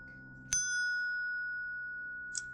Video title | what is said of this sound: Pattern welded Ring Dagger from a wrench | the sound energy is traveling back and forth and you know you don't have any delaminations or cold fuses in there